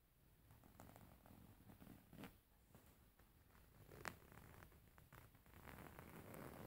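Fingernails scratch across a beige embroidered linen pillow, a stitched fabric cushion, and a fingertip taps the fabric. It makes a soft, low, rustling scratch with brief dull taps and one sharper tap midway. The scratching grows slightly fuller toward the end.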